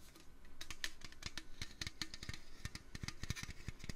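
Fingers tap rapidly on a metal can, producing a quick, steady run of short, dry clicks with a bright metallic edge and low thumps underneath. Each tap dies away almost instantly, giving a busy, even pattering close to the sound of fast typing.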